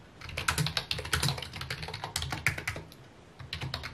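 Fingertips type rapidly on a full-size white plastic computer keyboard with mint keycaps resting on a wooden desk. A quick stream of short, bright plastic key clicks plays over a steady low hum, with a brief lull near the three-second mark before the tapping resumes.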